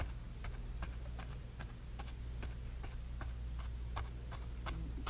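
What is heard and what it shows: A flat bristle brush taps and dabs grey paint onto a small painted canvas panel, making soft, brief, bright ticking dabs at an uneven pace. A steady low hum runs underneath the whole time.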